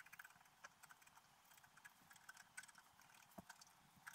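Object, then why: Black-coated scratch art paper scraped with a wooden stylus. The point of a wooden stylus scratches a flat, black-coated scratch art paper page showing a fairy on a unicorn, lying on a table while the other hand holds the sheet. The result is a quiet, steady, dry scratching texture dotted with short, crisp clicks and ticks, mostly mid to high in pitch with very little low end.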